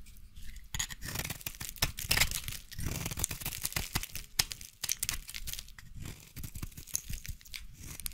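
A utility knife blade scrapes and shaves a solid yellow bar of soap into curls. It makes a dense run of crisp, crunchy scraping strokes with bright, high hiss and soft low thumps, and each stroke dies away almost at once.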